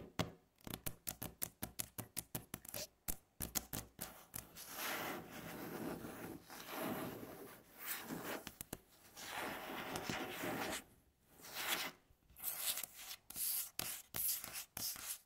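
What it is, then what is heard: Wooden tabletop, solid. Long fingernails tap and scratch a flat, solid, light-coloured wooden tabletop. Quick bursts of crisp taps give way to longer stretches of bright, rasping scratching, then the tapping returns. Each tap is short and dry, with almost no ring.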